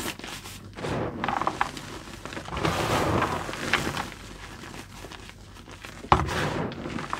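Bare fingertips dig into a mound of soft white crushed gym chalk (magnesium carbonate) powder in a blue container, squeezing it and letting it crumble through the fingers. Soft, powdery crunching and crumbling continues throughout, with a sharper crunch near the end.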